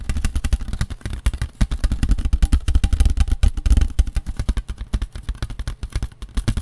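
Fingertips and nails tap rapidly and continuously on a large, thin, empty white disposable paper plate with a fluted rim, held in both hands. The taps come as dense, uneven bursts of soft, hollow thuds, dominated by deep low-end thumps with brief papery clicks on top.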